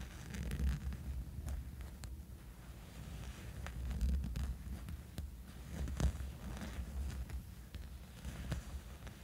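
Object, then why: Soft fabric sleep eye mask. A small, dark, soft fabric sleep eye mask lying on a bed is scratched and rubbed with fingernails. The sound is a steady, low, muffled rubbing that swells and fades, broken by brief, faint, sharp scratchy ticks.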